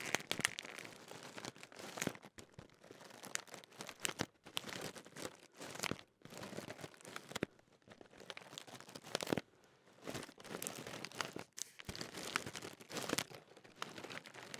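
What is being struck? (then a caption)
Metallised plastic crisp packet with crisps inside. Fingers crinkle and crumple the top of a large Walkers Ready Salted crisp packet made of thin metallised plastic, with crisps still inside. Dense bursts of bright, crackling crinkles come in quick runs, separated by short near-silent gaps, with little low end.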